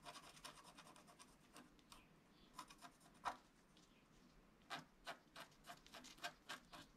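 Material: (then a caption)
Waxed paper. A wooden stylus scratches strokes into a flat scratch-art card of black wax-coated paper while the other hand holds the sheet still. The first two seconds bring a rapid run of quiet, bright, rasping scrapes. After that come sparser, sharper strokes with short pauses between them, each one brief and dry with almost no low end.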